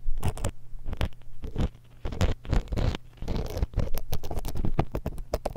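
A thin metal dental pick held in long-nailed fingers scrapes and pokes the metal mesh grille of a small hollow X-Y stereo microphone's capsules. The result is close, bassy bursts of scratching and rustling, with rapid little taps and scrapes that come in quick clusters and short pauses.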